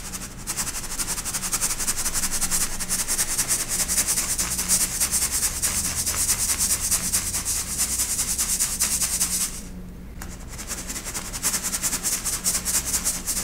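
A hand-held stainless steel mesh sieve holding pastel baked baking soda chunks and powder is shaken by hand, sifting the powder through the mesh onto a white surface. A dense, bright, gritty rustle of rapid scraping strokes continues steadily, with a brief quieter pause near the ten-second mark before the shaking resumes.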